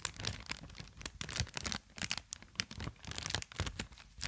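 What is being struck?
Inflated plastic air cushion packaging.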